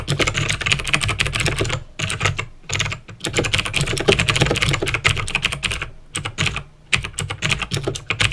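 Fingertips with painted nails type fast on a full-size backlit plastic mechanical keyboard, a Razer BlackWidow with clicky green switches, resting on a desk. Dense runs of sharp, bright clicks and clacks from pressing and tapping the keys come in bursts broken by brief pauses. A low thump sits under each keystroke.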